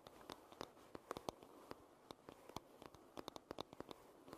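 Long red nails tap rapidly on the solid wooden back of a paddle hairbrush, making about two dozen quiet, dry clicks in an uneven rhythm. Each tap is short with no ring, centred around 630 Hz with bright, crisp tops over a faint soft background hiss.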